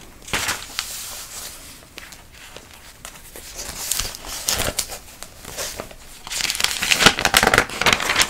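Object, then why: Thick glossy paper catalog pages. Long acrylic nails and fingers rub and scratch across the thin glossy paper pages of a thick printed trade catalog held open, handling and moving the pages. A crisp, bright crinkling and papery rustle comes in uneven bursts, with sharp scratchy clicks and little low end. The sound grows denser and louder toward the end.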